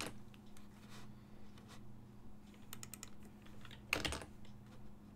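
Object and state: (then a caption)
Plastic computer keyboard. Fingertips tap the hollow key switches of a full-size black and silver plastic ergonomic desktop keyboard while typing. Soft, scattered plastic clicks sit over a low steady hum, with one louder clack near the end.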